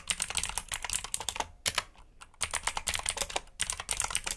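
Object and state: Mechanical keyboard typing.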